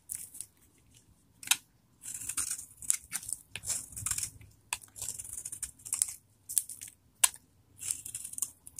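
A metal knife blade cuts and scrapes chunks and flakes off a palm-sized, solid bar of dried vintage soap stamped "Fiesta," held in one hand. Short bursts of dry, crisp, bright scraping and crunching repeat with brief quiet pauses between them, with almost no low end and no ring after each stroke.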